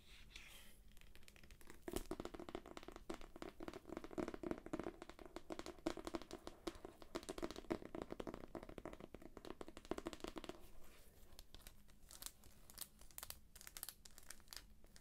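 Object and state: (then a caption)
Shrink-wrapped paperback book. Long nails scratch the cover and spine of a solid, thick paperback book sealed in plastic shrink wrap, making dense crinkly scratching with sharp ticks. The scratching grows louder and busier from about 2 to 10.5 seconds, then thins back to quieter, scattered taps and rasps.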